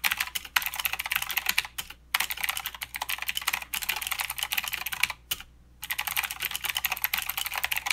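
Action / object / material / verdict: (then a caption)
tap / mechanical keyboard with plastic keycaps / plastic / none. A mechanical keyboard with blue switches and plastic keycaps is typed on continuously with the fingertips of both hands. It gives a dense run of sharp, bright clicks with very short decay, broken by a few brief pauses.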